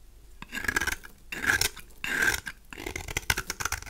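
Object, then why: Bar of soap scraped with a knife. A knife blade scrapes across a cream-colored, solid rectangular bar of dry soap held in one hand, shaving curls off its surface. Long, dry, raspy strokes with a bright, hissy edge are separated by brief pauses, then give way to quicker, choppier scrapes and crisp crackles toward the end.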